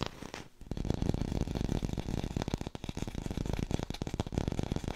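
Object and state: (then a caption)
Fake green apple. Fingertips tap rapidly on an artificial green apple, recorded with a hi-fi microphone. The taps are dull, hollow and low-pitched, with almost no ring, and they blur into a dense, steady patter with a brief gap near the start.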